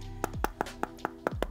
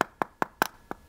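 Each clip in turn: First: About eight quick, dull fingertip taps on a fake phone over background music; the body sounds hollow. Second: Five quick, dry taps with a clicky mid-high tone; the genuine phone sounds solid, no hollow boom.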